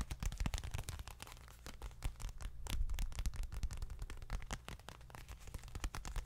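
A small dark leather bifold wallet is handled close to the microphone, scratched and tapped with long nails. It makes a dense run of quick, dry taps and scratching rustles over a heavy, low, thumpy body, with each tap dying away almost instantly.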